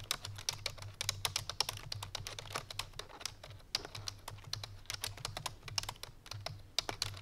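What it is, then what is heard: Plastic computer keyboard being typed on. Fingertips and painted nails of both hands type quickly on a full-size black plastic computer keyboard resting on a white fur rug. The result is a fast, dense stream of sharp, bright clicks and taps over a steady low hum.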